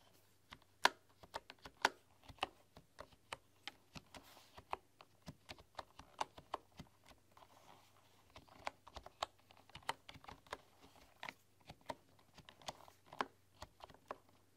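Fingertips and long, dark-polished nails tap and type on a full-size bamboo computer keyboard with wooden keys. About 30 short, dry, clicky taps land in an irregular rhythm, each dying away almost instantly, with a woody tone centered near 1 kHz and some bright click. A brief lull falls around the eighth second, then the typing resumes.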